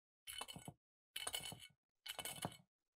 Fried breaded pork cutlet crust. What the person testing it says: à quel point c'est croustillant. Ça sonne si bien.